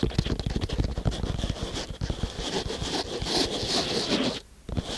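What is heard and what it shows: Fingertips of both hands scratch and drum on flat-packed kinetic sand filling a small wooden box. The result is a dense, steady patter of soft, muffled taps with a bright, grainy scratching texture on top, briefly dropping quiet near the end before the scratching resumes.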